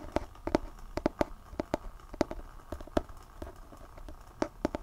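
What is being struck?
Hardcover book with glossy cover.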